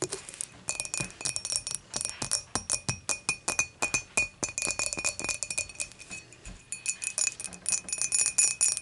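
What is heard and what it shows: Long matte nails tap the sides of an empty, clear dimpled glass beer mug with both hands, first with the mug tilted and then upright. The result is a quick, uneven run of dozens of bright, glassy clicks, each carrying a short, high ring over a faint steady tone. The taps grow a little louder toward the end.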